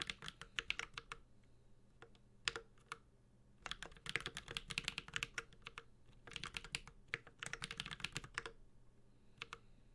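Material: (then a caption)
Aluminum, ABS plastic. A Space65 Cybervoyager 65% mechanical keyboard with an aluminum case, ABS plastic keycaps and Holy Panda switches is typed on continuously with the fingertips of both hands. Quick bursts of sharp, bright clicks and clacks come with short pauses between them, each keystroke dying away almost instantly over a faint low hum.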